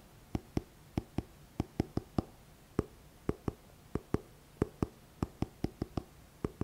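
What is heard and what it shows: Fingertips tap the glossy card front cover of a thick paperback book with a paper cover, held upright close to the mic. Twenty-two short, dull taps fall in an uneven rhythm, each with a soft low thump that dies away almost instantly into a quiet background.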